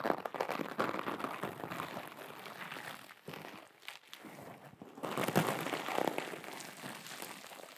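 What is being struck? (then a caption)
Small glitter fabric pouch. A small, flat, soft teal glitter fabric pouch is scratched and crinkled between long acrylic nails and fingertips. It makes a dense, irregular run of crinkling and scratchy rustling across a broad, bright band. The sound eases to a quieter stretch in the middle, then grows louder again toward the end.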